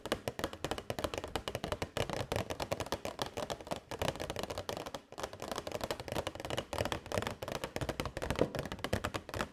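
Long nails rapidly tap a hollow, transparent plastic box holding LED fairy lights, held at an angle. The taps are quick, light and clicky, with a hollow mid-pitched knock and very short decay, running continuously with a brief pause around the middle.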